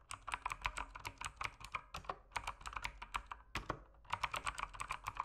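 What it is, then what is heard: Plastic mechanical keyboard. Fingertips type continuously on a backlit mechanical keyboard with plastic keycaps, giving about 28 short, sharp clacks centered near 1 kHz with bright high-end ticks. The keystrokes come in quick runs with a brief lull just before the four-second mark, then pick up again.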